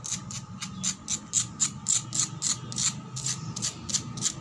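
Long black pointed nails and fingertips scratch and tap fast across a solid, cracked concrete floor. About seventeen quick, bright, gritty strokes land in an uneven rhythm, each with a sharp high hiss that dies away almost at once, over a faint steady hum.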